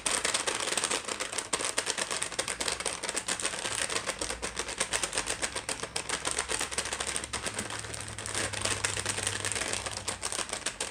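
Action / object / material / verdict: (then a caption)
tap / plastic bag of dry pasta shells / plastic / none. Long nails tap fast on a small sealed plastic package of La Moderna dry pasta shells, full and lying flat on a wooden tray. The result is a dense, steady stream of sharp, bright clicks with crinkly plastic rustle and a high hiss over the whole clip.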